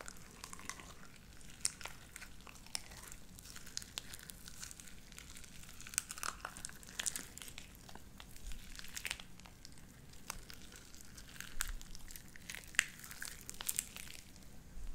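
Light-blue sticky slime with white beads is squeezed and stretched between both hands, giving a quiet stream of crackly, crinkling pops and sharp little clicks. Bright snaps stand out over a soft low rumble throughout.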